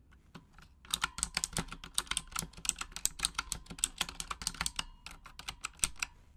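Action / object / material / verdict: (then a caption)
tap / plastic mechanical keyboard / plastic / none. Long acrylic nails tap the plastic keycaps of a full-size pink Razer Huntsman mechanical gaming keyboard with RGB backlighting, typing in Japanese. A few sparse clicks open into a rapid, steady stream of sharp, bright clacks with very short decay and little low end.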